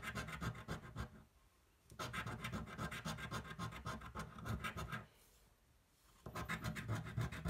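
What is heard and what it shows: The edge of a coin scratches a thin, flat cardboard scratch-off lottery ticket held flat on a table. It makes quick, rough, repeated scratching strokes with a low-heavy, gritty rasp. The strokes come in three bursts separated by two brief quiet pauses.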